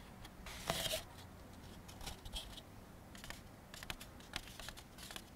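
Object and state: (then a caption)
Molded paper plate. A thin, empty white molded-fiber paper plate is tilted in the hands while its face is rubbed and scratched with fingertips and nails. The result is dry, bright scratching and rustling, with a louder burst of scraping near the start followed by scattered quieter scratches and small clicks.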